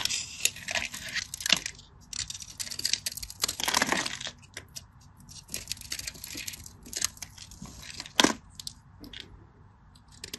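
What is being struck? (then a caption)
Bar of soap cut with a craft knife. A craft knife blade scores a grid into a solid, cream-colored bar of dry soap with a stamped face, held in the hand, and crumbles off cubes. The result is a dense run of bright, dry scratching, crunching and crackling with quick clicks and no ring. Louder bursts come near the start, middle and around eight seconds.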